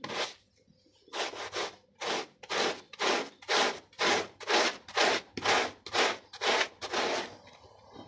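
A small brown and white foot-shaped textile pile rug, lightly soaped, is scrubbed vigorously with a plastic bristle brush. Fourteen steady, rhythmic bursts of bright, hissing bristle scrubbing follow one another, about two per second, with brief quiet gaps between strokes.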